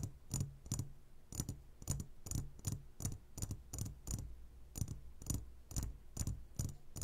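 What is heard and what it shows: Fingertips and nails tap on the sides of a clear glass jar full of gummy candies, making a steady series of short, bright clicks, each with a soft low thump underneath. The taps die away almost at once, with quiet pauses between them.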